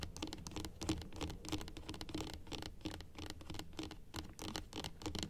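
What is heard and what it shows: Long acrylic nails tap and scratch across the plastic teeth and gums of a dental typodont model. The result is a quick, uneven run of small clicky taps mixed with dry scraping, with a faint hollow plastic tone around 316 Hz and short decays.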